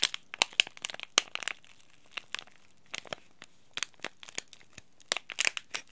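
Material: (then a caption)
Plastic foil. A small, sealed, green laminated plastic and foil tea bag sachet is crinkled and crushed between the fingertips. The result is a run of sharp, bright crackles and crinkles in irregular bursts, with quiet gaps between them and almost no low end.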